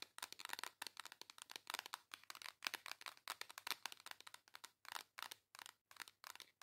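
Long acrylic nails tap and scratch the embossed cardboard cover of a flat, rectangular pink makeup palette. Rapid, dry, bright clicks and scratchy rasps come in quick clusters separated by brief pauses, each sound stopping instantly with no ring and almost no low end.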